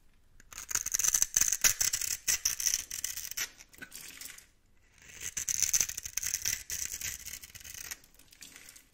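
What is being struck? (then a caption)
Bar of soap scraped with a blade. A blade tool carves a grid into a solid, hand-sized bar of turquoise-green soap held in the palm and scrapes off small cubes. Dry, bright, rapid scratching and crumbly scraping come in two bursts separated by a brief pause, with no low-end body.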